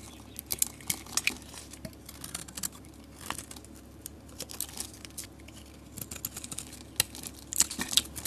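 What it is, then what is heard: Soap bar being shaved. A metal utility blade scrapes and shaves flakes off the surface of a solid red-orange soap bar with a painted rim, held in the fingers. Quiet, crisp scraping and crinkly shaving sounds come in irregular short bursts, bright and high with little low end, with occasional sharper ticks as flakes break away.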